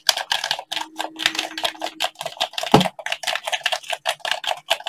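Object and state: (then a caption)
Plastic game controller. Blue latex-gloved fingertips tap and click the buttons of a hollow black plastic gamepad, making 27 quick, dry, bright clicks with almost no ring. A faint steady low tone hums beneath part of the run, and one sharper, fuller click stands out near the middle.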